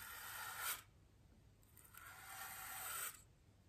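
A small wooden-handled paintbrush with stiff bristles is brushed across a large white solid styrofoam wreath ring resting on a table. Two soft, airy scratching strokes are heard, each a bright, hissy rasp that rises and then cuts off, separated by a brief quiet pause.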